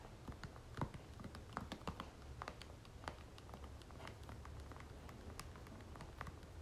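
A soft plastic lotion tube is held in one hand while the nails of the other hand tap quickly on its face. The result is a quiet, irregular patter of light, dry clicks that stop almost instantly, over a steady low hum.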